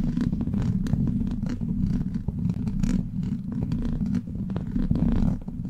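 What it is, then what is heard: Metal mesh microphone grille being scratched. Long black plastic claw nails scratch and tap a hollow steel mesh microphone grille. The result is a dense, continuous low rumbling scrape with a purr-like texture, dotted with quick sharp taps throughout.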